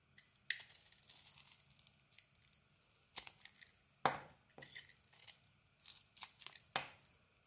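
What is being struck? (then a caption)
Soap bar scraped with a metal knife. A solid, rectangular white soap bar with a pink glitter coating is held in the hand and scraped with a metal knife blade. Quiet, dry, bright scraping and crackling bursts come at irregular intervals, each short and crisp with almost no low end.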